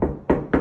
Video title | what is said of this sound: 1968 Pontiac tempest update and new house tour | sounds like metal, right?